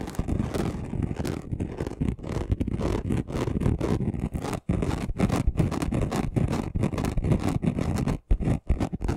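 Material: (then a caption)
Glitter. Short nails of both hands scratch fast across a flat chunky gold glitter craft sheet. The result is a dense, continuous rasping scratch, heavy in low, rumbly tones with little brightness, broken only by brief pauses near the middle and toward the end.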